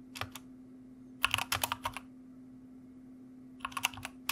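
Fingertips of both hands type on a white plastic mechanical computer keyboard, producing crisp, bright key clicks in three short bursts: a couple of strokes, a quicker run, then a final flurry. Brief silences separate the bursts, with a faint steady low hum underneath throughout.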